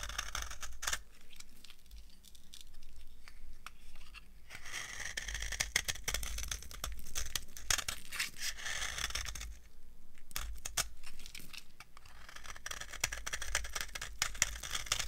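A solid, dry yellow soap bar with a cracked, flaking surface is carved with a metal knife. Dry, crunchy scraping and crackling comes in bursts, with bright, flaky high-end detail and quieter pauses between passes.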